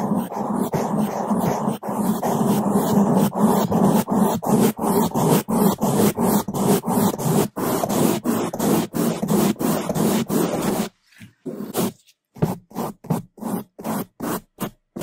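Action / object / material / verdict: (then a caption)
scrape / foam microphone windscreen / foam / none. Gloved hands rapidly brush a black foam microphone windscreen with one or two bamboo toothbrushes, the bristles scraping the foam in fast, loud, rhythmic strokes. The dense, low, rumbling scratch runs almost continuously for about eleven seconds, then breaks into shorter, quieter, separated strokes with brief silences between them.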